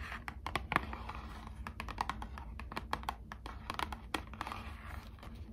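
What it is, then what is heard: Cardboard box tapped with long nails. Long acrylic nails scratch and tap on the front of a small, hollow, printed cardboard box of Squishmallows trading cards. A rapid run of dry, clicky taps with papery scratching between them plays over a steady low hum, each tap dying away almost instantly.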